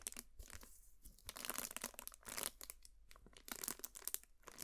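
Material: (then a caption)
Cardboard. Long nails scratch and tap on a large, hollow, heart-shaped cardboard gift box with a white-and-gold heart pattern, held in the hands. Quick, dry, bright scratching bursts and soft taps come in uneven clusters, with a crinkly, papery texture and no ringing after each stroke.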